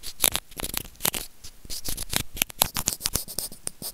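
A small hollow white plastic earphone remote with a mic is scratched and rubbed with white plastic tweezers. The result is a dense run of short, dry, bright scratching and clicking ticks with almost no ring, over faint low thumps.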